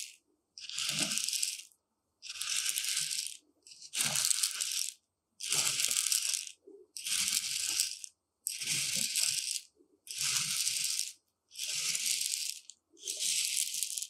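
Two metal rods rake and poke through a shallow tray of dry, uncooked white rice, making the grains rattle. The sound comes in repeated bright, hissing bursts of a few seconds each, separated by brief silences, with little low-end weight.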